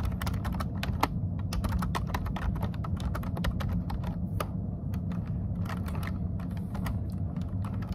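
Fingertips of both hands type steadily on a plastic computer keyboard for about eight seconds. The key taps are quick, sharp clicks with bright, brief tops over a constant low rumble.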